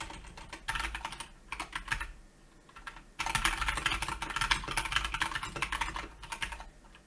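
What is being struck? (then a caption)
Plastic mechanical keyboard. Fingertips type on a Keychron K2 plastic mechanical keyboard with grey and black plastic keycaps resting on a white surface. Bright, crisp clacks come in uneven bursts of repeated key presses and taps, with a near-pause in the middle before a longer, faster run of typing.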